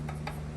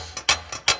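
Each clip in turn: First: Two light taps with a brief tick around 800 Hz and no buzzing rattle: the throat plate sits tight. Second: Two quick double clacks, bright and dry: the throat plate rocks in its seat and knocks when tapped.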